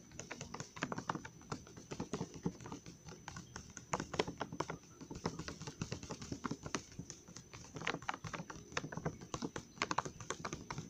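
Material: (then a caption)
Plastic. Fingertips and nails tap rapidly on the back of a full, glossy plastic Trolli gummy worm bag, near the barcode area. Quick, dry crinkly taps patter in a steady, uneven stream with very short decay, mixing a low thud with a brighter plastic click.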